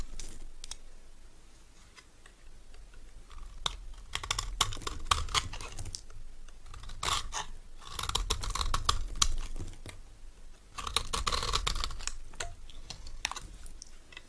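A solid, rectangular, cream-coloured dry bar soap is shaved with a metal knife into powdery flakes. The result is bursts of dry, crisp scraping and crunching with many short, bright strokes. The strokes come in three denser passes separated by quieter pauses.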